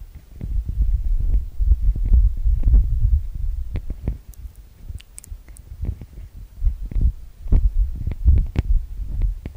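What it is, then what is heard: Metal mesh microphone capsules. Fingertips tap and rub the metal-mesh microphone capsules of a TASCAM DR-40X recorder, producing a rapid, uneven patter of deep, boomy thumps with a low hum-like rumble beneath. Faint bright scratchy ticks occasionally break through the muffled low-end thudding.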